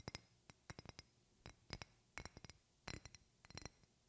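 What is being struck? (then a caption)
Glass perfume bottle. Long painted fingernails tap a medium rectangular glass perfume bottle with a silver cap, held in both hands. The taps make an irregular series of short, bright glass clinks, some in quick clusters, each fading almost at once over quiet background hiss.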